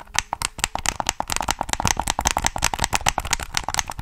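Fingertips click the triggers and tap the shell of a black, hollow plastic PS3 game controller held in both hands. The result is a rapid, continuous run of about two dozen sharp, dry clicks and taps, bright and clattery, with no ring after each hit.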